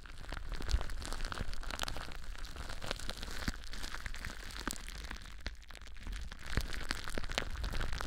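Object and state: Plastic bubble wrap.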